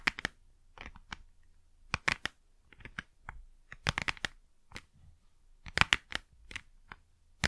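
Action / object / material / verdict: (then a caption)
tap / small printed cardboard box / cardboard / none. Long nails scratch and tap the face of a small hollow printed cardboard Blu Tack box while it is tilted in the hands. The result is a quiet series of short, dry, bright clicks and papery scratches with almost no ring, separated by brief near-silent gaps.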